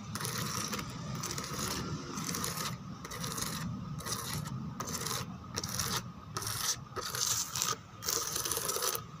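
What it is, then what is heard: Plastic chair backrest scratched. Long nails scratch across the textured relief of a white plastic chair backrest with embossed roses and grid holes. Repeated bright, rasping strokes come in short bursts separated by brief pauses, with a faint steady tone near 1.3 kHz and a soft low rumble underneath.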